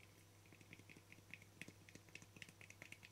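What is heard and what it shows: A small, round, hollow lid of translucent frosted plastic with a yellow-green sticker is held in one hand while fingertips and nails tap its flat face. About seventeen quick, light taps come through, each a short, dry click with a bright ~2 kHz tick that dies away almost instantly. A faint, steady low hum runs underneath throughout.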